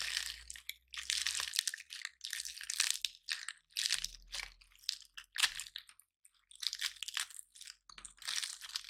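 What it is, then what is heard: Dry pine cone being crushed. Fingers squeeze and crush the scales of a dry, palm-sized, gold-painted pine cone, breaking them off. The result is repeated bursts of dry, bright crunching and crackling with short pauses between them, and each burst stops almost instantly with no ring.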